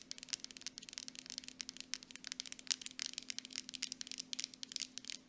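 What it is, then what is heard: Plastic cosmetic jar tapped with nails. Long acrylic nails on both hands tap fast on the sides of a grey plastic mud mask jar with a metal lid, which appears full. The result is a rapid, uneven stream of dry, bright clicks with no ringing after each one, over a faint steady low hum.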